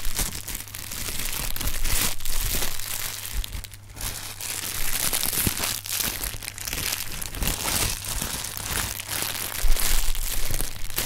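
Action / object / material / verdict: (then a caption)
scrape / inflated thin plastic film air cushion packing pillows / plastic film / none. Hands squeeze and crumple inflated, hollow air-filled packing pillows of thin plastic film with green "Sealed Air" print. The result is a steady, irregular stream of crinkling and crunching plastic with bright, crackly texture over a low hum.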